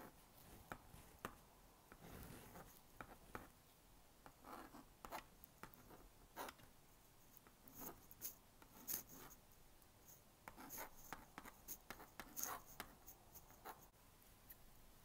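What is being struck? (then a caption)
Plastic magnetic drawing board scratched with a magnetic stylus. A plastic magnetic stylus scratches lines across the honeycomb screen of a small blue-and-pink plastic magnetic drawing board while drawing a pig. Quiet, dry scratching strokes come in short, uneven bursts, each a brief, bright rasp with little low end and almost no ring.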